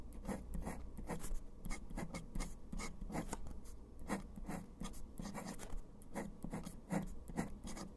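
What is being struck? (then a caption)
Metal pen nib on paper. A metal dip pen nib scratches across a flat sheet of pale textured writing paper, writing letters in dark ink. Short, dry scratchy strokes come in quick irregular bursts over a low steady hum.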